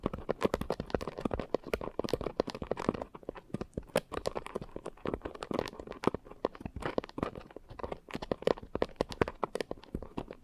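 Long nails scratch rapidly over the porous top of a pink coarse foam scrub sponge. The result is a dense, continuous run of short crackly, crunchy scratches, mostly in the midrange with little deep bass or bright top.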